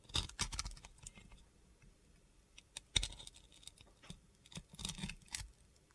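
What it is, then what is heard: Bar of soap being scraped. A box cutter blade scrapes and cuts away the purple and blue glitter coating from a solid white bar of soap held in the hand. It makes a series of short, crisp, gritty scraping and cutting bursts with a bright, dry texture. The bursts come in uneven clusters with brief pauses between them.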